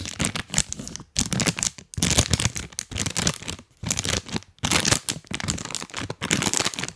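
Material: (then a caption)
Plastic. A full, printed plastic cookie bag is held close to the mic and squeezed and crinkled with rubber toy hands. Dense, bright crackling crinkles come in bursts, with brief quiet gaps between handfuls and a soft low rustle underneath.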